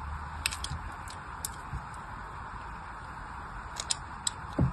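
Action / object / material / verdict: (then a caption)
scrape / soap bar scraped with a blade / soap / none. A blade tool scratches more scored cuts into the surface of a solid orange bar of soap already marked with crosshatched lines. Short, bright, crisp scraping clicks stand out over a steady soft hiss and low rumble, ending in a slightly heavier scrape.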